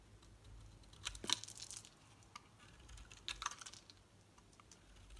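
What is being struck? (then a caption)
Bar of soap cut with a metal blade. A solid green rectangular bar of soap with a textured surface, held in the hand, is cut and shaved with a metal utility knife blade. It makes soft, bright, crisp scraping and crunching bursts in two main clusters, with faint scattered clicks in between. A low, steady hum runs underneath.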